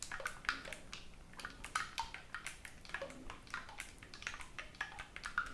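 Fingertips rapidly press and release the silver metal keys on a black oboe held in both hands near the chest, without blowing into the hollow tube. A quick, uneven stream of soft, dry key clicks and taps is heard, each with a bright, faintly pitched tick that dies away almost at once, over a quiet background.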